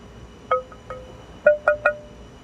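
A private-stock block of East Coast tonewood, the wood Les Pauls are made of, is tapped five times at the PRS factory while held at its one-quarter point. Each tap gives a clear, bell-like chime around 600 Hz with bright overtones that fades quickly. The block rings well held at the quarter point, but held at the end it does not ring.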